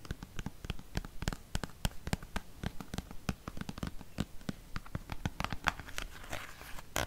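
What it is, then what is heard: Plastic cosmetic tube. A dark green plastic cream tube, held upright, is tapped and scratched with fingernails, producing a rapid, uneven stream of dozens of short, dry clicks and taps. Near the end, a brighter scratchy rustle rises under the taps before a final sharp tap.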